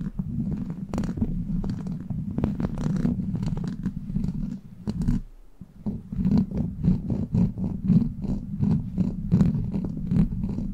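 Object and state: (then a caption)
Metal mesh microphone grille scratched with nails. Long black plastic claw nails scratch over the top and sides of a hollow steel mesh microphone grille. The result is a steady, low, purr-like rumble broken by many quick, bright scratching strokes, with a brief quieter dip around the middle before the rhythmic scratching returns.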